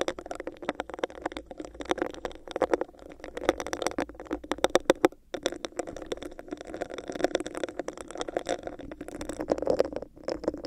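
Long decorated acrylic nails scratch and tap the surface of a hollow, clear plastic cup with a raised bumpy texture, which is placed upside down over a microphone. The result is a dense, continuous stream of quick clicks and rough scratches, carried by a hollow, muffled resonance in the low mids. A brief lull comes around the middle before the tapping resumes.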